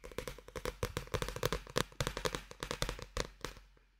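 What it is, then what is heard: Paperback book (paper). A small, solid paperback manga with a paper band is held close to the microphone and tapped and handled on its cover with fingertips. A quick run of crisp, dry taps follows, with a hollow papery knock around 500 Hz and bright rustling edges. Each tap stops dead with no ring, and the tapping fades out at the end.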